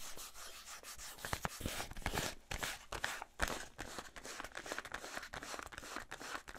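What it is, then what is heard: Cardboard soap box. A small printed cardboard box holding a bar of soap is held close to the microphone and scratched and tapped with fingernails. Dry, papery scratching runs throughout, broken by irregular sharp taps with a bright, crisp edge. The sound is close and intimate, with short, quick-dying clicks over a steady rustle.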